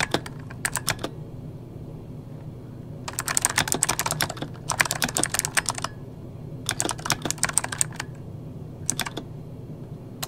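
Fingertips of both hands type on an RGB-backlit mechanical keyboard with plastic keycaps, producing quick bursts of sharp, bright clicking keystrokes separated by short pauses. Each click is crisp and dies away almost instantly, over a steady low hum in the background.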